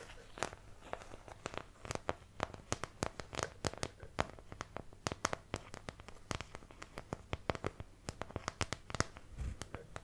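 Long nails scratch the molded wells of a thin, empty white plastic paint palette held close to the mic. The result is a rapid, uneven series of dozens of sharp, dry clicks and crackly scrapes with bright edges, each dying away almost instantly over a faint low hum.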